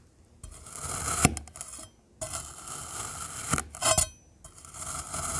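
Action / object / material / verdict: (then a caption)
scrape / kinetic sand cut with a metal knife / kinetic sand / none. A rainbow metal knife slices horizontally through stacked solid cylinders of black glittery kinetic sand. Three gritty, hissing scraping passes are heard, separated by short pauses. The passes are bright and crunchy, punctuated by a few sharp clicks.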